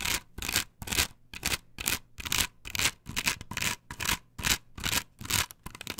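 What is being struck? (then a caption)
Perforated plastic stencil on wooden board. Long nails rub and scratch back and forth across a flat, perforated plastic stencil glued to a wooden board. Each stroke gives a bright, hissy scratching burst with a short gap between, repeating at a steady, brisk pace for the whole clip.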